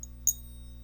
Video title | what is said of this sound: ❗️Buying Coin Collections. What they typically look like.❗️ | it just goes by the sound waves and it can tell if it's silver